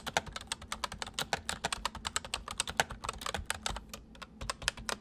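Fingertips of both hands type quickly on a white full-size plastic MSI mechanical keyboard with hollow keys. About 35 sharp, bright clicks and clacks come in a steady, uneven stream, each dying away almost instantly over a faint low hum.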